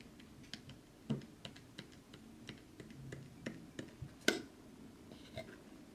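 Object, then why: Small hinged wooden box. A small hinged light wooden box holding craft knives and blades is opened and closed in the hands while fingertips and short nails handle and tap the wood. About eleven short, dry clicks and taps with a quick decay sound at low level, with a sharper, brighter knock standing out near the end.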